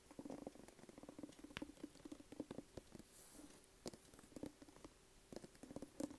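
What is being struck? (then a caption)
Cloth-covered hardcover book. Long acrylic nails tap and scratch the hard cloth-board cover of a large, solid white hardcover copy of "Becoming," held in the hand with its dust jacket removed. The result is quiet, rapid, irregular tapping with dull, short-lived clicks centred in the low mids, mixed with soft scratching between the taps.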